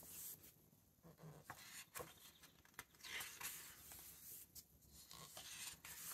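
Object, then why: Thick paper pages of a hardcover book. Fingertips turn the thick illustrated paper pages of a large open hardcover book and rub them flat. Quiet, bright papery rustling and sliding hiss are broken by brief crisp flicks and soft crackles as each page lifts and settles, at an uneven pace.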